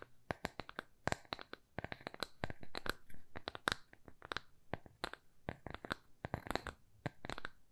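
A small, thin, solid square plywood coaster with rounded corners is held in both hands and tapped and scratched with long nails. A rapid, irregular series of dry, sharp clicks sounds, each dying away almost instantly, with a woody tone around 1.5 kHz and bright edges. Brief scratchy rustles fill the gaps between the taps.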